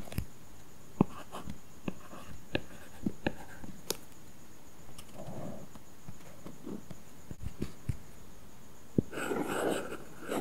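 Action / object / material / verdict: scrape / plastic stylus on matte plastic film over a tablet glass screen / plastic film / none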